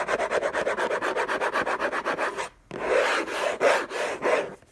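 Fingertips and short nails scratch the lid of a closed, long rectangular orange Hermès cardboard box covered in textured paper, lying on a fluffy blanket. A fast, rhythmic run of dry raspy scratch strokes lasts about two and a half seconds, then breaks off in a brief silence. Slower, heavier rubbing scrapes follow, with a papery mid-range hiss and a bright edge.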